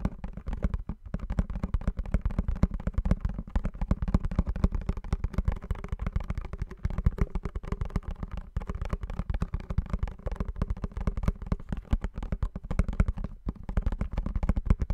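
A small blue printed cardboard perfume box is held in both hands while fingertips and nails tap and scratch its faces. The result is a steady stream of rapid, dull, hollow taps with very short decay, heavy in low thumps, with light scratchy texture between them throughout.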